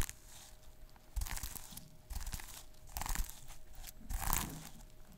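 Fingertips and short nails rub and scratch the plastic sequins on a small sequin-covered notebook. The result is bursts of dry, crinkly, crunchy scratching that swell and fade over a steady faint hum.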